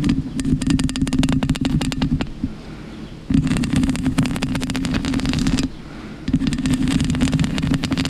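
Long pink acrylic nails scratch a black foam windscreen of soft, porous foam covering a microphone, first with one hand and then with both hands. Three bursts of dense, crackly scratching with a heavy low rumble and a steady hum are separated by two short, quieter pauses.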